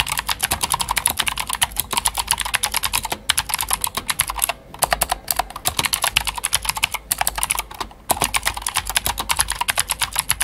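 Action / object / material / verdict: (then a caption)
tap / plastic mechanical keyboard with clicky switches / plastic / none. A full-size white Glorious GMMK White Ice mechanical keyboard with plastic keycaps and clicky Gateron Blue switches is typed on with the fingertips of both hands. A steady stream of sharp, bright clicks and clacks runs through the clip, broken only by a few brief pauses. Each keystroke is crisp and dies away almost instantly, with very little low end.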